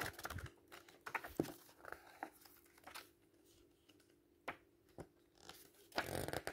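A block of paper pages in a thick paperback book is gripped and riffled with the fingers, then the pages are flipped. Soft, crinkly papery rustles are broken by a few sharp snaps. The clip ends in a dense, bright flutter of pages.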